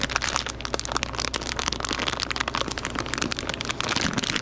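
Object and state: Plastic candy bag.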